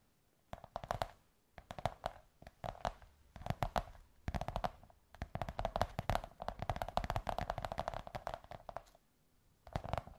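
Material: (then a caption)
Cardboard. Long white nails tap and scratch the surface of a large, hollow beige kraft cardboard tube or curved sheet. Quick bursts of dry, hollow tapping with a papery scratch come in clusters separated by short pauses, with a muffled low thump and a mid-range resonance.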